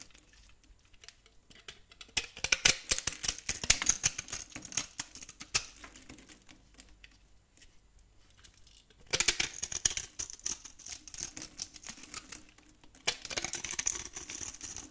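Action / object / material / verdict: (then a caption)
scrape / bar of soap scraped with a metal blade / soap / none. A metal blade carves and scrapes small chunks off a solid brown, dry soap bar held in the hand. It makes dense, crisp, bright crackling scrapes with almost no low end. The scraping comes in three bursts separated by quiet pauses.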